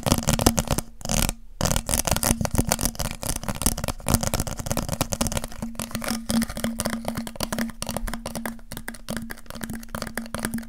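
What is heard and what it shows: Fingertips and nails scratch and tap on a hollow, apparently empty transparent pink plastic water bottle with a ridged, bulging body, held in the hands. Rapid crinkly scratches and light clicks run almost continuously, with brief pauses, over a faint steady low tone.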